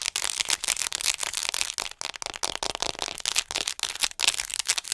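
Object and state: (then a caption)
Plastic acupuncture model doll. Long acrylic nails tap quickly and aggressively on the torso and head of a hollow white plastic (possibly vinyl or PVC) acupuncture model doll, about 40 cm tall, held upright in front of the mic. The taps come as rapid, dense bursts of bright, dry clicks and rattly crackles with almost no low end. Each tap dies away almost instantly.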